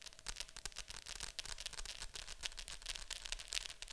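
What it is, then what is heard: Plastic VHS clamshell case tapped with nails. Long nails tap quickly and steadily on the glossy lid of a hollow plastic Fantasia VHS clamshell case lying flat. The result is a dense stream of soft, bright plastic clicks with almost no ring, plus a faint low rumble underneath.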